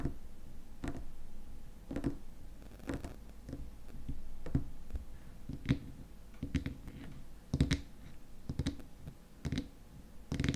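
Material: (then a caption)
Plastic. Fingernails tap the edge and top of the frosted white plastic lid on a small glass cream jar filled with cream. The taps come as short, dry clicks at an irregular pace. Each has a dull low thump with a faint bright tick, fading almost at once over a quiet background.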